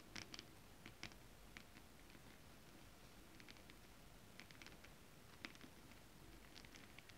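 Long nails tap and scratch across flat holographic mermaid scale-printed fabric. Soft, crisp little ticks and short scratchy brushes scatter irregularly over a steady low hiss. The sound stays quiet and close throughout.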